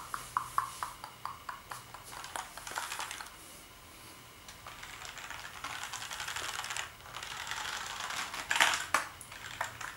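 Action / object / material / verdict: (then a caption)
tap / plastic keyboard / plastic / none. Fingertips type on the keys of a black plastic gaming keyboard, producing quick, bright clicks and clacks. The taps come as separate strokes at first, then run together into a steady, denser patter. A louder burst of clatter comes near the end.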